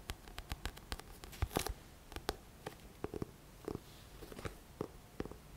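Fingertips and short nails tap and scratch the glossy front cover of a thick, solid paperback book held upright. Many quick, dry taps with brief bright scratchy bursts sit over a low rumbly background at a quiet level, each tap dying away almost instantly.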